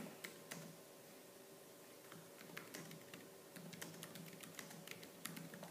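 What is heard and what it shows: Fingertips with purple-painted nails type fast on the black plastic keys of a laptop keyboard, giving a quick run of sharp, bright clicks and clacks. The clicks sit over a steady low hum.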